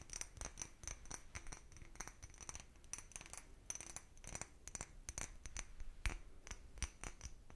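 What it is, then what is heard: Cut glass bottle. A small, empty, clear cut-glass bottle is held in one hand and tapped with the fingertips and nails of the other. Quick, bright clinks ring out in irregular bursts with faint scratching between them. Each tap dies away almost at once.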